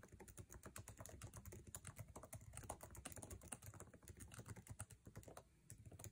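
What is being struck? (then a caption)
Laptop keyboard with plastic keycaps in a metal body. Fingertips tap quickly on a MacBook Air keyboard with plastic keycaps set in an aluminum chassis, producing a dense stream of short, dry clicks with a soft, low thump under each keystroke. The typing runs steadily for about six seconds with only a brief lull near the end.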